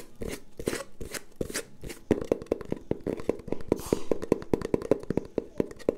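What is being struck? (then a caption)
Cardboard tube. A long, hollow, empty brown cardboard tube, held horizontally, is tapped quickly with long painted nails and fingertips. A few soft, airy strokes give way to a fast run of short, dry, hollow knocks with a resonant tone around 430 Hz that stops almost instantly.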